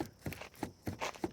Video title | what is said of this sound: How To Buy A Used Car Check It Over and Not Regret Buying It!!! | now this thing's actually making a noise when i shake it